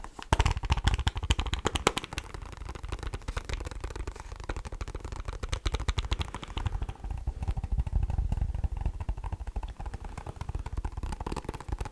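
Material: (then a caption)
Plastic. A Casio scientific calculator's plastic casing is tapped with rapid, irregular light taps for about twelve seconds. The taps sound like dull, low-heavy clicks with very short decay, blending into a continuous clatter.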